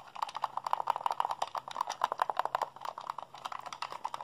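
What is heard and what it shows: Fingertips and thumbs rapidly mash the buttons of a hollow white plastic Xbox handheld controller held in both hands. A fast, uneven run of dry, short plastic clicks and taps centers in the midrange, with a faint low hum underneath. Each click dies almost instantly.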